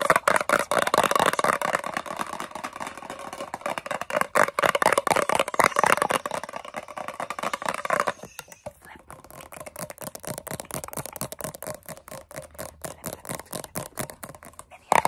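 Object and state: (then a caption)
Metal cream tin, hollow. A large, hollow, round blue metal Nivea Creme tin is held in both hands and tapped rapidly on its lid and sides with long nails, with rings on the fingers. Dense, quick clicking taps with a hollow metallic tone run at roughly four per second. They are louder and fuller for the first eight seconds, then continue more softly.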